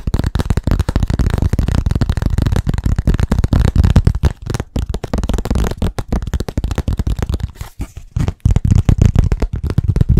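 Fast, aggressive tapping on a blackboard produces a dense, continuous stream of dull, low-pitched knocks. The taps are short and muffled with almost no ring, and they keep up a steady rapid rhythm with brief pauses throughout.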